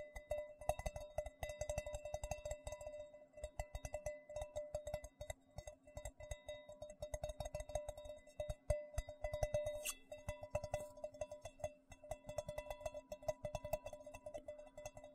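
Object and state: Stainless steel bowl.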